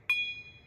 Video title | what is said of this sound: DANCE OFF AT WORK / I Bought An Abandoned Storage Locker / Opening Mystery Boxes / Storage Wars | I have never heard such a clean ding in all my life